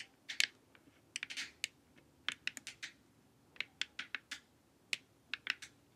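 Long nails tap and scratch the forehead and sides of a glossy, hollow plastic LED face mask. About twenty quiet, sharp, bright clicks come in irregular bursts, each dying away almost instantly, with a few brief scratchy sweeps between them.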